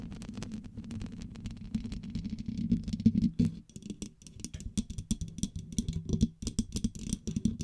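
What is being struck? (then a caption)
Metal mesh microphone grille. Long pink acrylic nails tap and scratch the hollow black metal mesh grille and upper body of a blue studio microphone. The result is quick, irregular clicking taps mixed with rough scratching, mostly low and dull, over a steady low hum.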